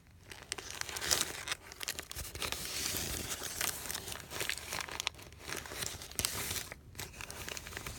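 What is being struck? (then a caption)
Thin paper sheet. Fingertips squeeze, crumple and unfold a thin, heavily wrinkled white paper sheet resting on a canvas cushion. Continuous bright crinkling and crackling rustles with dense, sharp snaps come and go in waves over eight seconds, with a few brief pauses.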